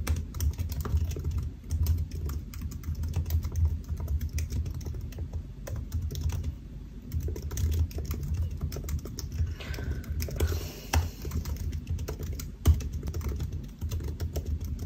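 Fingertips of both hands type steadily on the black plastic keys of a solid silver aluminium laptop resting on a white desk. The taps are soft and muted, with a low, thuddy body and little brightness, forming a continuous stream of quick, short clicks. One sharper, louder tap stands out near the end.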